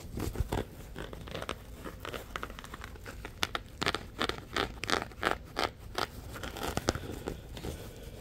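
A palm-sized, soft yellow nylon mesh scrubber sponge with a loop is squeezed, crinkled and scratched with fingertips. Irregular bursts of dry, crackly rustling and scratching come and go, with sharp, bright crinkles standing out above a low, steady background.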